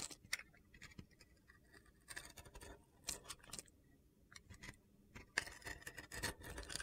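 A utility knife blade carves and scores a solid bar of soap held in the hand, its surface coated in red and blue glitter and already scored. Short, crisp, crunchy cuts and gritty scrapes come in bursts with brief quiet gaps between them, bright and sharp in the high range.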